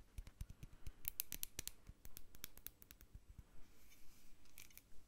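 Long acrylic nails tap and scratch the bumpy surface of a medium hobnail-textured glass jar, hollow and full of white bath salt with a plastic spoon inside. Quick, sharp clicks with bright, brittle high-end edges come in uneven bursts, mixed with scratchy friction over a faint low rumble, and fade into a softer hiss near the end.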